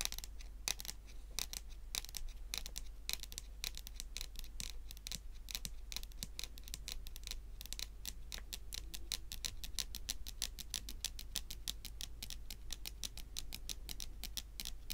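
Long pointed acrylic nails tap quickly on a large, solid, glossy dark brown wooden table top. The result is a steady stream of sharp, bright clicks with almost no ring, over a constant low hum.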